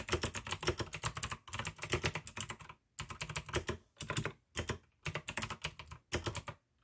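Fingertips type fast on the keycaps of a full-size pink plastic AUKEY mechanical gaming keyboard with RGB backlight, clicky blue switches and a hollow case. Rapid bright clicks ride over a low, hollow thock, coming in quick bursts of keystrokes broken by brief silences. Each click is dry and stops almost instantly.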